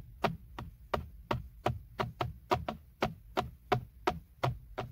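Fingertips and short nails tap and scratch the hard, textured, hollow plastic airbag cover at the center of a BMW steering wheel. Fifteen short, dry clicks come at a brisk, slightly uneven pace, each a quick bright tick with almost no ring, over a faint low hum.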